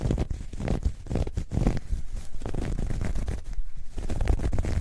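A soft, hollow, dark grey ribbed knit fabric bag is stretched and scratched with long nails. The result is a steady run of deep, muffled scratching and rubbing strokes, heavy in low rumble with almost no bright content and very short decay.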